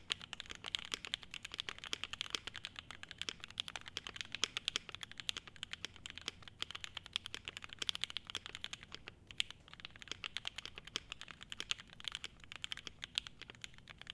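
Fingertips of both hands type densely and continuously on an E7-V2 75% mechanical keyboard with a clear polycarbonate case, polycarbonate plate, SP Star Meteor White switches and ABS keycaps. The result is a steady stream of short, crisp, bright clacks centred around 3.2 kHz, each dying away almost instantly, with very little low end.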